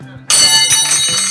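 A solid steel Kyoto Tool hand tool is set down, giving a sharp strike at about 0.3 s and a second, softer hit at about 0.7 s. A bright, high metallic ring sustains for about a second. The clear ringing tone marks the tool as good-quality steel.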